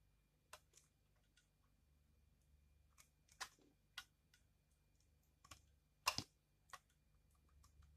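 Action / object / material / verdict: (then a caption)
scrape / bar soap scraped with a blade / soap / none. A utility knife blade scrapes thin curls off a hand-sized, solid, pale pink dried bar of soap held in one hand. Short, crisp, bright crunchy clicks sound at scattered intervals over quiet background hiss. Each scrape cuts off almost instantly.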